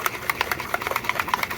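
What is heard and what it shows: A small metal bolt rattles inside a bottle of aluminum polish mixed with red rubbing compound as the bottle is shaken to mix it. About a dozen quick, bright clicks repeat in a fast, steady rhythm, each dying away almost instantly.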